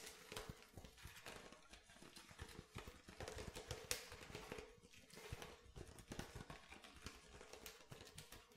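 Fingernails rhythmically tap the bottom of an empty, hollow, clear plastic water bottle, which is then turned sideways. The result is a quiet series of short, dry, clicky taps with a bright edge and a faint hollow tone near 490 Hz that dies away almost at once.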